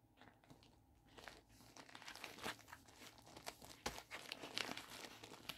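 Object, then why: Plastic bubble mailer. A medium pink poly bubble mailer envelope, hollow and holding contents, is handled and squeezed with fingertips and palms. Soft, bright crinkling and crackling rise and fall through the clip, with a few sharper crunches toward the end. There is almost no low end and each crackle dies away quickly.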